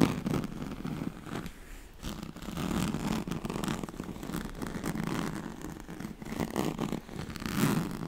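Long nails scratch across the ribbed weave of a thin, flexible, yellow-and-black striped woven oval mat with a piped edge, made of a straw-like fabric. The sound is a continuous, dense, dry scratching that rises and falls in intensity, with low rustling body and short bright edges.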